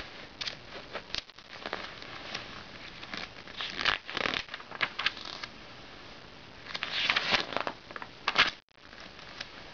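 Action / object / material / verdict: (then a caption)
scrape / glossy coated paper magazine / coated paper / none. Fingertips handle the thin coated pages of an open glossy paper magazine lying on a red blanket on a lap, turning and flipping them. Bright crinkling and rustling bursts come in irregular waves with sharp paper snaps, over a soft, steady papery hiss with almost no low end.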